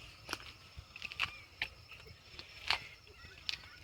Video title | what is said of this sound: TVS IQUBE VS BAJAJ CHETAK TECHPAC FULL DETAILS REVIEW WHICH BETTER TVS IQUBE OR BAJAJ CHETAK @GOURAV | अगर मैं यहां प ठोक के दिखाऊ प्लास्टिक है